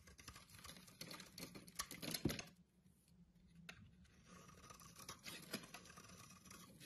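A metal blade scrapes shavings off a hand-sized solid orange bar of soap with round knobs on top, held in the hand. It makes a dense, bright, crackly scratching that peaks around the two-second mark, drops to a near-quiet lull, then resumes more softly with a faint low hum underneath.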